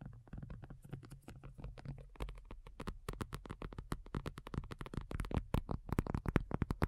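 Long nails on both hands tap rapidly across a black folding faux leather iPad cover lying flat, its thin, hollow-backed surface giving soft, low, dull thuds with light clicks. The uneven patter grows denser and slightly louder toward the end, each tap dying away instantly.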